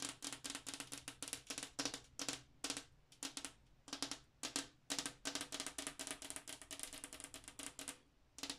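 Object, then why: Flat glass wall mirror. Long acrylic nails with black tips tap and scratch the surface of a large, flat glass bathroom mirror, a solid pane mounted on the wall. Rapid, bright, clicky taps come in quick bursts with brief gaps, mixed with light scraping. Each tap dies away almost instantly.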